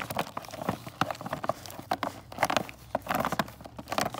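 Fingernails tap rapidly on a full cardboard box of mini candy canes, striking both the cardboard and its plastic window. The result is a run of short, dry, clicky taps with a mid-range knock, each dying away almost instantly, coming in quick irregular bursts.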